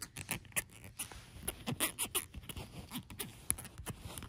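Long acrylic nails tap and scratch on a small light-coloured plastic cosmetic squeeze tube lying on a patterned fabric blanket. The sound is a quick, uneven run of dry, sharp clicks and scrapes, closely spaced with short pauses, each dying away almost at once.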